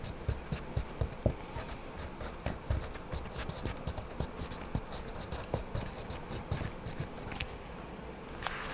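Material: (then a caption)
Paper. A hand rubs a wax crayon over a paper coloring book page lying flat on a table, coloring in a small figure. Quiet, steady scratchy strokes with bright, papery edges carry on throughout, punctuated by soft low bumps as the crayon presses and shifts direction.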